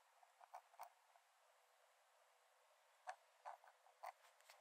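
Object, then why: Paper sketchbook page scratched by a metal dip-pen nib. A metal nib in a wooden dip-pen holder scratches lines onto the cream paper page of an open sketchbook lying flat on a dark desk. Short, dry scratching strokes come in two bursts separated by a quiet pause, centered in the midrange with a faint steady hiss beneath and no low end.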